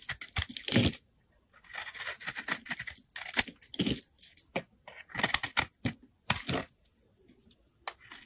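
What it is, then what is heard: Soap bar being scraped. A solid rectangular yellow soap bar with a red-glitter edge is held in fingers with painted nails while a blade scrapes thin layers off its face. Crisp, bright scraping and crinkling strokes come in quick bursts separated by short pauses, each dying away almost instantly.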